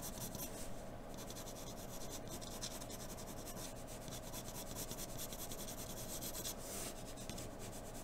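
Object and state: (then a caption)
Pencil drawing on paper. A wooden graphite pencil held in an extender rubs and scratches in quick strokes across a flat sheet of white drawing paper on a dark table. The sound is a soft, steady, dry scraping with a bright, papery hiss that pulses with the strokes at an even low level throughout.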